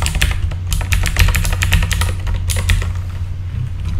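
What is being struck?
Mechanical keyboard with plastic keycaps.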